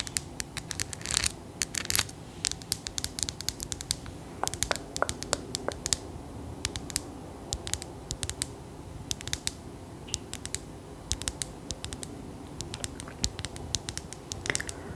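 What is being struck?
Solid glass sphere.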